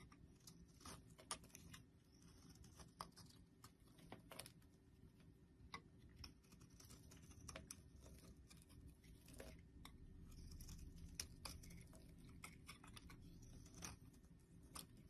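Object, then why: Soap bar. A box-cutter blade scrapes across a solid orange star-shaped soap bar held in the hand, shaving curls off its surface. Quiet, crisp scratching and crackling ticks come in irregular bursts over a low, steady hum.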